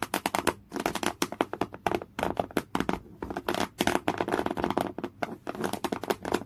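Fingernails scratch fast and aggressively across folded, thick beige woven cotton canvas cloth. Dense bursts of dry, rasping scrapes follow one another in a rapid, uneven rhythm, with brief pauses between clusters.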